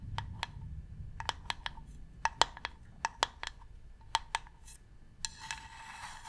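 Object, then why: Varnished wooden box. Long nails tap and scratch the top edge of a medium, hollow, varnished wooden box. Sixteen sharp, dry taps with a hollow tone near 920 Hz and bright clicks ring out briefly against a low background rumble. The clip ends with a steady, hissy scratching across the wood.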